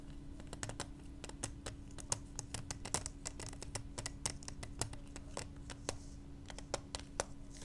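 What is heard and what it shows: Long nails quickly tap and scratch a small, hollow, clear plastic pacifier case, making a rapid stream of sharp, bright clicks with scratchy texture between them. The clicks stop almost instantly, over a steady low hum and rumble in the background.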